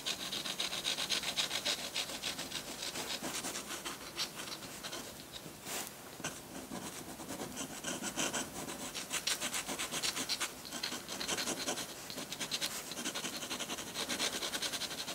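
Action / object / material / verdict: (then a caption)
scrape / textured drawing paper sheet with a metal dip pen / paper / none. A metal dip pen nib scratches hatching onto a flat sheet of textured white drawing paper. Quick, fairly irregular strokes repeat several times a second, making a dry, bright, papery scratching that stays steady throughout with almost no low end.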